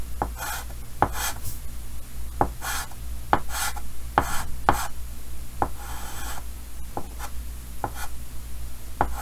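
Pink chalk colors in a cheek on a large, solid painted chalkboard set in a green wooden frame, rubbing and scratching across the board surface. Soft, breathy rasping strokes alternate with sharp, short chalk taps with a mid-pitched tick that die away almost instantly, over a steady low background hum.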